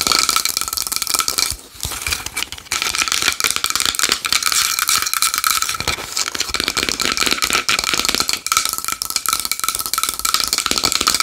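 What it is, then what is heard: Small wooden bowl. Long nails tap fast and aggressively on a small wooden bowl, making a dense, continuous stream of bright, crisp clicks with almost no low end. Faint steady tones ring through the taps, and a brief softer lull comes about two seconds in.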